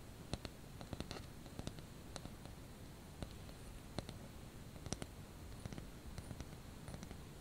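A small white painted ceramic ice skate ornament is held in the hand and tapped with the fingernails. A steady, irregular series of sharp, bright clicks sounds over a quiet, low rumbling background.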